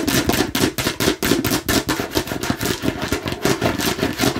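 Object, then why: Hard plastic watermelon-slice container. A hollow, hard plastic watermelon-slice container held in one hand is tapped rapidly with the long nails of the other hand. About sixteen quick, clicky hollow knocks with a body around 280 Hz and a bright edge follow one another in an uneven, fast rhythm, each dying away almost at once.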